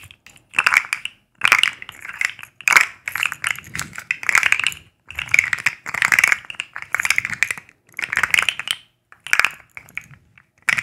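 A black and white striped, segmented plastic fidget slug with hollow segments is bent and clicked with long acrylic nails close to the microphones. Bursts of dry, rapid, bright plastic clicking and crackling come in short clusters separated by brief silences, with sharp, quickly fading ticks.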